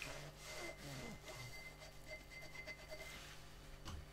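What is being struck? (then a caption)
Textured glass drinking tumbler. A gloved hand scrubs and rubs a hollow, empty, clear glass drinking tumbler with a bubble-textured surface using a sponge, inside and out, while holding it over a sink of soapy water. The result is a quiet, continuous scratchy rubbing with squeaky sponge-on-glass chirps, over a steady low hum and faint high tones.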